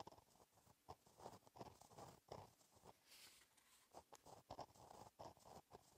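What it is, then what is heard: Gel pen writing on a paper notebook page. A gel pen tip scratches across a flat, black, lined paper notebook page while writing cursive. Quiet, irregular strokes produce soft scratching with brief bursts. A faint brighter hiss rises around the middle.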